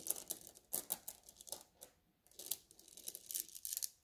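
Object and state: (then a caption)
Glass gem beads in a mesh bag, rubbed. Fingertips with painted nails rub and press a flat pile of small blue glass gem beads in a white mesh net bag on a table. The beads clink and grind together in quick, bright, crinkly bursts with almost no low end. A short pause near the middle breaks up the quiet, close sound.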